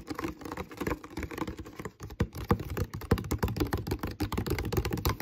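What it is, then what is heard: Empty plastic water bottle. Fingertips and nails rapidly tap and scratch the molded base of an empty, hollow, clear plastic water bottle. The result is a dense, uneven stream of short, dry clicks and taps with a hollow, low-heavy body and brief scratchy accents, each dying away almost instantly.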